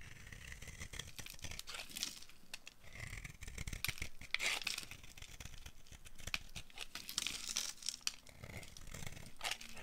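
A solid, rounded, dry pink soap bar held in the hand is shaved into flakes by a metal blade with a yellow handle. The carving produces a steady run of dry, crisp scraping and crackling strokes with a bright, papery edge over a soft low rumble.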